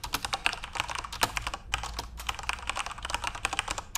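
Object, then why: Plastic computer keyboard. Fingertips type continuously on a backlit plastic Corsair RGB mechanical keyboard, producing a rapid stream of short, sharp, bright clicks with almost no ring. The keystrokes peak around 2.7 kHz, with little low end beneath them.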